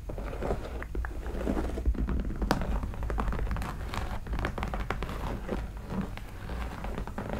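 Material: Leather.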